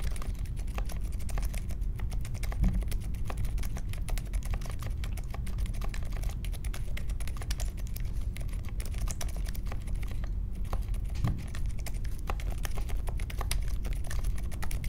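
A small 60% Polaris mechanical keyboard with a grey case, white, mint and pink plastic keycaps, and Silent Alpaca linear switches is typed on steadily with the fingertips of both hands on a marble desk. The keystrokes come as a continuous stream of soft, muffled, low thuds with very little bright click, and the level stays even throughout.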